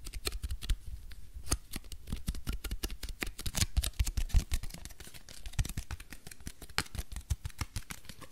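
A flattened piece of crumpled aluminium foil is held in one hand while the fingertips of the other hand scratch and rub it. This produces a fast, dense stream of sharp, dry crackles and crinkles with bright edges over a low, soft rumble of handling. The crackles vary in loudness but keep going without a pause.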